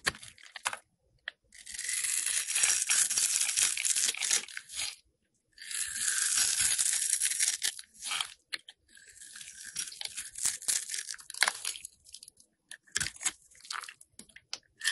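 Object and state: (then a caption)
Soap bar being scraped. A solid rectangular blue and pink bar of soap, held in the hand, is scored and scraped with a metal box cutter blade. Long, bright, raspy scraping strokes alternate with quieter bursts of crisp scratching and crumbly crunches, separated by short silences.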